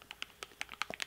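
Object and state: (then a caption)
Sunscreen bottle with thin, runny liquid. A plastic bottle of Lancome oil-free SPF 50 facial sunscreen is shaken, giving about eight quick, bright clicking ticks with no ring and almost no low end. The sharp, light rattle shows the sunscreen inside is a thin, runny liquid.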